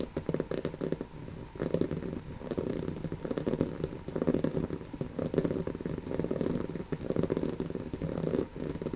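Long natural fingernails of both hands scratch rapidly across a soft, stuffed, brown textured woven-fabric cushion. The result is a dense, crackling, rustling scratch that comes in uneven surges, concentrated in the low-mid range with only a faint bright hiss above.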